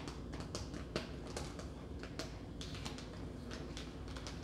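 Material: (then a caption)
Plastic. A red plastic tub of sliced roast beef with a film lid, about 15 cm across, is held in hand and tapped with long nails. Quick, light clicks repeat in an irregular stream over a low, steady background, each dying away almost at once.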